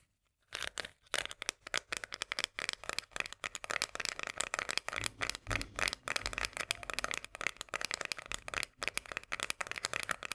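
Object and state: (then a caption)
Metal food can of sweet corn. Long painted nails tap and scratch quickly on a small, full, sealed Bonduelle sweet corn can held upright, working over its paper label and metal body. After a brief silence, a dense stream of crisp, bright clicks and papery scratching follows with almost no ring or low end.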